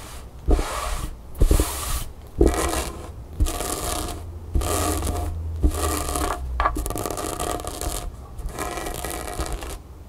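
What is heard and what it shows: Long nails scratch and rub a grey cotton t-shirt with a printed graphic, laid flat on a table. Bursts of bright, breathy scraping come roughly once a second, separated by brief quiet gaps, over a faint low rumble.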